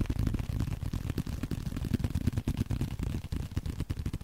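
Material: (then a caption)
Leather. Nails and fingertips scratch and tap a small, flat blue leather card holder. The result is a fast, uneven run of dull, low-pitched taps mixed with soft scratching, with almost no bright high end or ring.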